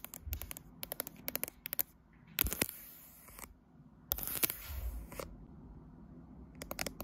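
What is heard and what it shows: Long nails tap and scratch a smartphone with a matte glass back and metal frame, held in a tripod clamp, working on the right side of the back and the metal edge. Quick, sharp clicking taps come in clusters, broken by two longer, bright, hissy scratching passages, with a low rumble beneath.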